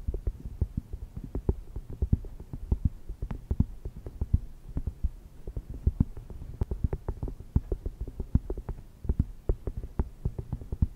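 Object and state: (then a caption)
Cork coaster. A small, thin, solid round cork coaster lying on a fluffy microphone cover is tapped and scratched with long red nails. The result is a rapid, uneven stream of muffled, low, thudding taps that stop dead with no ring, over a soft scratchy rustle.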